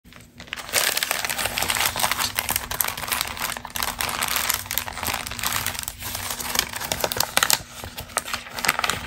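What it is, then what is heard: Crumpled glossy magazine page. A single thin, flat glossy magazine page showing a camel fashion spread is held and crinkled by hands with long green nails, with other pages underneath. Dense, bright crackling and rustling runs almost continuously after a quiet start, with a faint steady low hum beneath.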